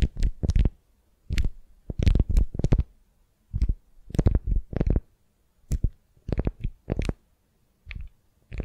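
Long nails scratch and squeeze a sticky beeswax-coated cotton wrap around a solid wooden sphere held in hand. The result is irregular bursts of crackly, rustling scratches with a low, rumbling thump under each one, separated by short silences.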